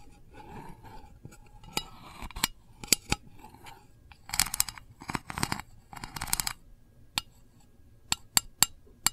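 A single long nail taps on the lid of a small, round, printed metal candle tin that is hollow. Sharp, bright, tinny clicks with almost no ring are heard, some as separate taps and others in quick, rattling bursts.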